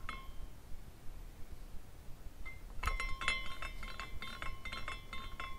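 A small clear glass carousel ornament spins, its glass horses rotating and knocking glass on glass. A single bright clink rings early, then after a quiet stretch a quick, uneven run of tinkling clinks follows, each with a short, high ring.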